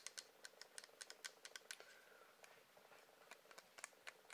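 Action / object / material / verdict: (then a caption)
tap / wax candle / wax / none. A wax candle is tapped in a quick, irregular run of about 19 light taps over four seconds. Each tap is a dry, bright click with almost no low end and no ring, and there is a faint soft rustle between them.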